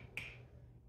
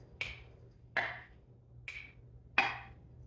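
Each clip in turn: First: One bright, high tap near 2.4 kHz rings briefly off a loose metal lid on an empty jar: unsealed. Second: Four crisp, high taps on a canning lid, each ringing briefly; the clear ping of a properly sealed jar.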